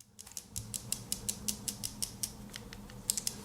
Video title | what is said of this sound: How to Refill a Mechanical Pencil with 0.7 HB Refills: Mechanical Pencil Lead Sizes and Types | you can hear them shaking